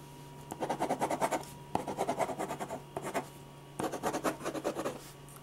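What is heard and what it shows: A metal ballpoint pen scratches hatching strokes across a large sheet of white drawing paper resting flat and solid on a firm board. Four bursts of quick, rhythmic back-and-forth scratches, centred in the mid range around 830 Hz with airy high hiss, are separated by short quiet pauses.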